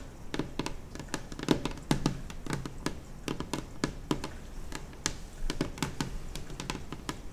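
Long acrylic nails on both hands tap across a large, solid, white glossy laminate kitchen table top. They make a quick, irregular run of dry, clicky taps, each with a bright tick and a short, low thud that dies away almost at once.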